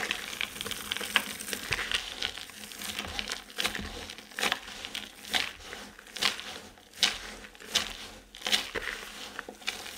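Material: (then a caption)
Soap. Two hands cup and squeeze a mound of dry colored soap chips, crumbling them between the palms. Dense, bright crunching and crinkling rises in repeated waves of loud crushing bursts over a steady dry crackle.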